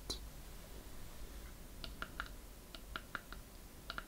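A small hollow wooden treasure chest with metal corner fittings and a latch is held in the hand and tapped and scratched with long painted fingernails on its lid and sides. Quiet, crisp clicking taps, about ten in all, ring briefly with a bright tone near 1.4 kHz over a soft low background hiss.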